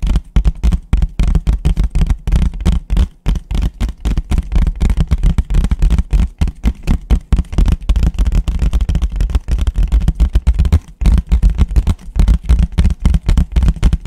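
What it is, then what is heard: Paper plate. A thin, empty white disposable paper plate is held flat and tapped fast with fingertips on its bottom and rim. The result is a rapid, irregular stream of short, dull, low thumps with almost no high end, each dying away almost instantly.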